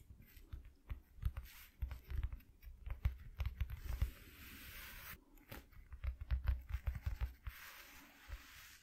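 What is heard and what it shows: Fingertips and short nails of both hands tap quickly on a flat white corrugated cardboard sheet lying on a dark cloth. Bursts of soft, deep, dull thuds come in quick clusters, broken by stretches of a steady, brighter, hissing rustle.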